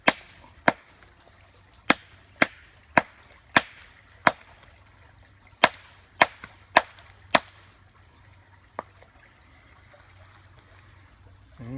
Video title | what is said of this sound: WV Bushcrafter ~Flint & Steel | when you hit that listen to the sound it makes it almost sounds like glass